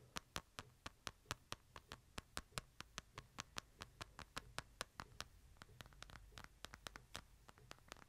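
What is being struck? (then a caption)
Smartphone in a light plastic case. Fingernails tap and scratch a smartphone in a light plastic case, held upright in both hands. A quick, steady run of sharp, bright clicks comes with soft scratching and a low background hum. Each click dies away almost instantly.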